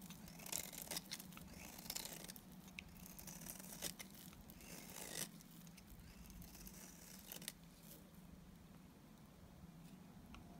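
A solid, dry white Timotei soap bar held in the hand is shaved with a box cutter blade. Quiet, irregular, crisp scraping and cutting strokes with a bright, papery edge sound over a steady low hum.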